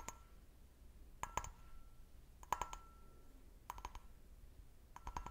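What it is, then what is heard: Glass brandy snifter. Fingernails tap the bowl of an empty, hollow, medium-size clear stemmed glass brandy snifter in five short, uneven bursts of quick clicks. Each tap gives a brief glassy ping with a tone near 1 kHz and bright overtones, dying away almost at once over a faint, quiet background.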